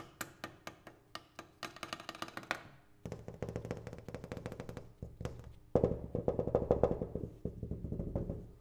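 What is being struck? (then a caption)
Double pane glass window. A double pane glass window is tapped, producing short, dry, dull taps with a low-mid tone that die away almost instantly. The taps start out evenly spaced, then turn into faster, denser bursts of rapid tapping that grow slightly louder toward the end.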